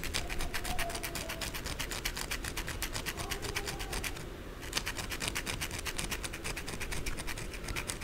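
Long blue acrylic nails scratch fast along the narrow side of a white solid bar of soap held on its edge, with shavings piling below. A rapid, steady train of bright, crisp scraping strokes runs throughout, over a low rumble, with a brief softer dip just past the midpoint before the fast scratching resumes.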